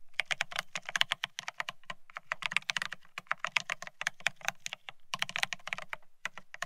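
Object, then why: Mechanical keyboard with ceramic keycaps on a steel plate. A Bear65 mechanical keyboard with blank white matte ceramic Cerakey keycaps on a steel plate, resting on white cloth, is typed on rapidly with the fingertips of both hands. Fast runs of sharp, bright clacks with a light low thump underneath are heard, each dying away almost instantly. Brief pauses break the flow of keystrokes near the two-second and five-second marks.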